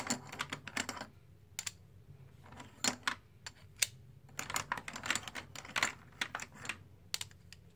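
A stack of black plastic composite poker chips, solid discs held in both hands, is riffled and clacked together above the box. Quick, bright, dry clicks come in irregular bursts separated by brief quiet pauses, each clack dying away almost instantly.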